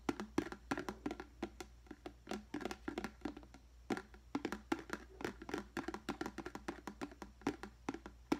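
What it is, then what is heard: Plastic deli container, empty. A large, clear, hollow, empty plastic deli container is held on its side and tapped rapidly with the fingertips. The result is a quick, irregular run of short, hollow, dry knocks with a mid-pitched tone around 290 Hz and almost no ring, over a faint steady low hum.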